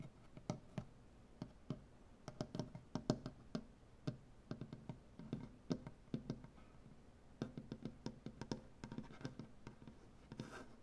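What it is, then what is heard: Solid wooden butcher block tabletop. Fingernails on one hand scratch and tap across a solid, light wooden butcher block tabletop. Dozens of short, dry, woody clicks and scrapes come in uneven bursts, with a dull low-mid body and almost no ring. The sound stays quiet and close throughout.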